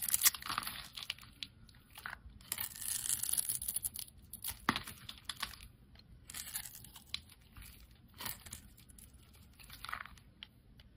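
A metal utility-knife blade cuts away small pre-scored cubes from a solid, hand-sized red soap bar. The result is soft, crisp scraping and crunchy, tearing cuts, bright and hissy with little low end, coming in short bursts with quiet gaps between them.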